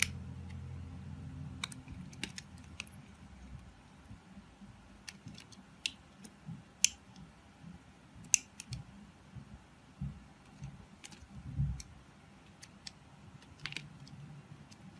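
A palm-sized block of solid translucent light-blue glycerin soap, held in a hand with long white nails, is scraped and carved by a red-handled utility knife blade. The result is a quiet series of sharp, bright scraping clicks at irregular intervals over a low, soft rumble.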